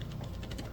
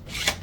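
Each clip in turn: First: Quick, light plastic clicks as the printed sword is shaken, its segments rattling loosely against each other. Second: A soft, airy swish with no clicking at all: a printed plastic collapsing sword whose parts fit tight.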